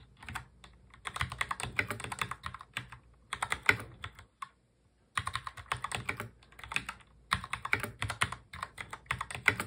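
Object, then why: Plastic mechanical keyboard. Both hands type fast on a full-size black mechanical keyboard with plastic keycaps, fingertips tapping the keys. Rapid, bright, clicky keystrokes come in dense bursts separated by short pauses, with a longer silent break near the middle. Each keystroke is sharp and dies away almost at once.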